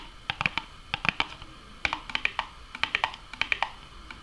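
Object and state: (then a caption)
Cardboard box tapped with nails. Long nails and fingertips tap on the front and top edge of a small, hollow, closed printed Burger King Nuggets cardboard box. About two dozen quick, dry, bright clicks come in uneven bursts, each dying away almost instantly with very little low end.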